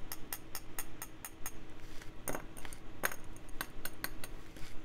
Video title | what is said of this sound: Pen Resurrection Sunday Ep. 31 1938 Parker Vacumatic Lockdown Emerald Pearl | écoutez à quel point le son cristallin de ce celluloïd est comparé au 1935 des États-Unis